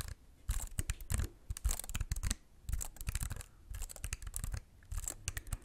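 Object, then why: Plastic computer keyboard. A slim white wireless keyboard with plastic keys and a hollow, flat body is held in both hands close to the mic while fingertips tap and press the keys. Quick clusters of crisp, bright clicks ride on a deep, hollow thump, with short pauses between the flurries of tapping.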